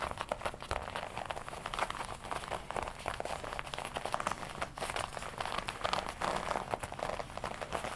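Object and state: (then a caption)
Leather jacket. Fingertips tap and scratch the black leather chest panel of a worn red-and-black smooth leather jacket. Close, continuous soft tapping and crinkly scratching rustle through the whole clip, strongest in the midrange, with quick, dry hits that die away almost at once.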